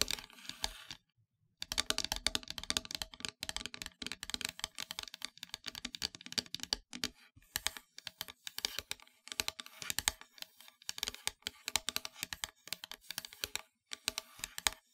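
Long nails tap rapidly across the surface of a solid, flat, black-painted wooden heart board. The clicks are dense, dry and bright, each dying away almost instantly, with a brief silence near the start and a few short pauses between bursts.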